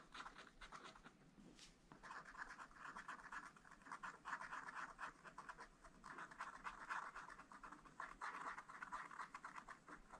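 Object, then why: Wax-coated scratch-art paper page scratched with a wooden stylus. A wooden stylus, held close under the hand, scratches blossoms into a black wax-coated scratch-art page in a small spiral-bound pad of thin, flat paper. It makes a dense, quiet, papery rasp centered in the midrange, in bursts of rapid short strokes separated by brief pauses.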